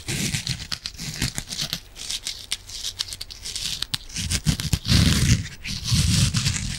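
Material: Foam.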